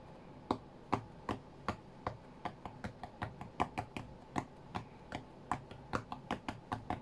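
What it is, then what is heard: Glass tablet touchscreen. Fingertips of both hands tap the glass touchscreen of an iPad tablet lying flat on a cutting mat. About 25 short, dry taps come in an uneven rhythm over seven seconds, each a crisp tick that dies away almost at once over a quiet background.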